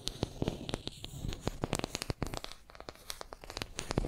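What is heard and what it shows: Long nails scratch and tap a small, solid wooden makeup brush handle held in both hands. Many sharp, bright clicks ring out over a soft, low scratching rustle, each tap cutting off almost at once.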